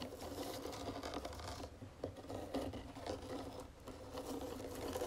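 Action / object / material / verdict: scrape / round wooden jewelry box / wood / none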